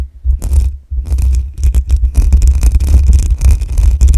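Long nails scratch the hollow metal mesh grille of a black USB microphone, producing dense, rapid scraping bursts with a heavy low rumble underneath and bright hissy crackle on top. Two brief dips early on mark the hands lifting off before the scratching resumes and continues steadily to the end.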